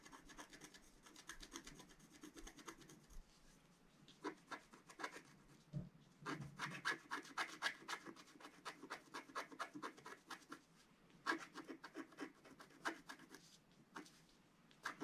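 A wooden stylus scratches the coating of a flat scratch art card, a black coated card, in continuous strokes. The sound is a quiet, dry rasping made of quick scratchy strokes, with bright grainy edges and rapid bursts of repeated scrapes. Between the bursts there are softer, calmer stretches.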